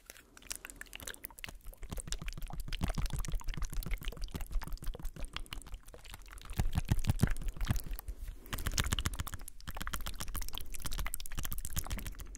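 A strip of small plastic ampoules filled with saline is held by the fingertips, then shaken and tapped. The result is a rapid, irregular stream of soft clicks and ticks, each decaying almost at once, with a faint liquid slosh. The sound is mostly low in tone and grows louder in bursts toward the end.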